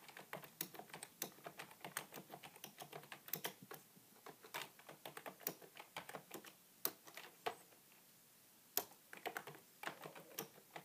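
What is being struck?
Plastic computer keyboard.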